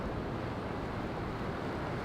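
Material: Nothing is struck.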